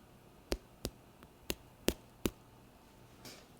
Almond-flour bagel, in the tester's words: when thumping it you can hear that there's a thud